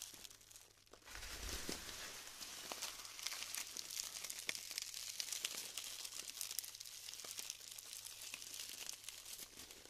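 Hands scoop up clumps of glued styrofoam foam balls and crumble them apart. After a quiet first second, a dense, steady stream of bright crinkling, crackling and sharp little snaps and squeaks continues throughout, with almost no low end.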